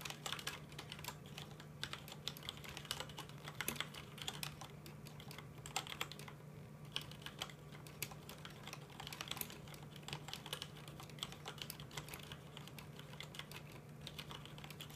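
Both hands type steadily with their fingertips on a full-size black plastic mechanical computer keyboard with red keycaps. The result is a dense, continuous run of quick, bright key clicks with a faint low hum beneath.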